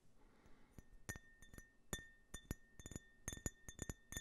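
An empty, hollow clear glass tumbler with a US-flag print is held horizontally and tapped with the fingertips and nails. Quiet, irregular bursts of sharp glassy clinks follow one another, some in quick clusters. Each tap leaves a faint, thin ring near 1.8 kHz with bright overtones above it.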